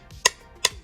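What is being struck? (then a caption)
Ceramic cane tip on ceramic tile. A white ceramic hook-on cane tip with a black rubber ring, made by Ambutech for a long white cane, is tapped twice on a sheet of ceramic tile in place of a table. Each tap is a sharp, bright click that dies away almost at once.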